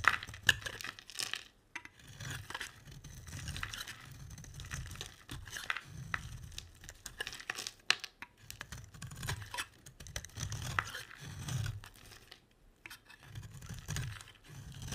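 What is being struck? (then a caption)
Round soap bar scraped with a metal blade. A solid, round, red-and-white striped bar of soap held in the hand is scraped with a metal utility blade, leaving shavings on the table. Dry, crisp scraping and crackling with bright clicks repeat steadily over a soft, low rumble.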